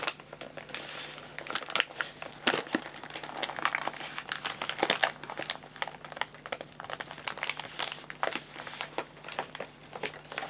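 Hands squeeze, fold and crinkle the paper top of a white paper bag of guinea pig food filled with pellets. Dry, bright crinkling and crackling come in dense, uneven bursts with sharp snaps, over a faint steady low hum.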